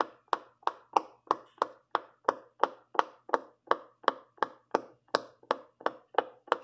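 Fingertips with long purple nails press the hollow bubbles of a large rainbow silicone pop-it fidget toy one after another along a row. There are 19 short, dry pops at about three per second, each a quick mid-pitched snap with a little bright click that dies away almost instantly.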